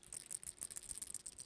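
A fishing jig with a chunk trailer tucked up against its built-in rattle is shaken by hand, producing a quiet, rapid, high-pitched clicking rattle. The rattle is working and clearly audible.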